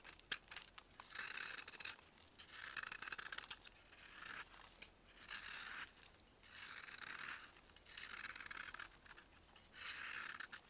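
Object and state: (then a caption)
Dried baking soda block being shaved. A metal blade, held with a gloved hand, shaves thin flakes off a solid white block of dried baking soda. Quiet, bright, crunchy scraping comes in repeated strokes, each a gritty hiss with faint crackles, separated by brief pauses.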